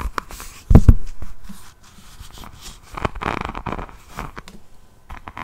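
Long painted nails of both hands scratch across the faceted resin rhinestones covering the front of an A5-size hardcover diamond painting notebook held upright, making crunchy, clicky scraping. A loud thumping burst near the start gives way to quieter rustling and clustered scratches, with low rumble underneath.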